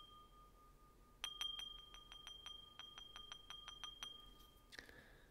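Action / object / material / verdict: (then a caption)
strike / small metal singing bowl struck with a thin stick / metal / none. A small, hollow, empty metal singing bowl resting on an open palm is struck with a thin white stick. A high, steady ringing tone near 3.2 kHz hums quietly at first. From about 1.2 seconds, a quick series of light, bright taps rings over the sustained tone, ending with a soft brushing sound near the end.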